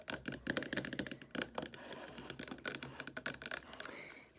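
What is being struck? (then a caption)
Plastic liquid soap bottle. A tall white plastic liquid soap bottle with a rose print, about 570 ml, hollow and appearing full, stands on a wooden table and is tapped and scratched with long red acrylic nails. Quick, crisp clicky taps mix with brief scratching, then the bottle is picked up and tilted, and the sound eases into a softer, quieter texture at the end.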